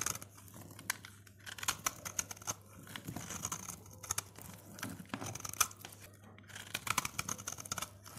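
A solid, dry orange soap bar held in the fingers is scraped by a snap-off utility blade, which shaves flakes from its face. The result is a steady run of bright, crisp scraping strokes with short, dry crackles and a faint low hum underneath.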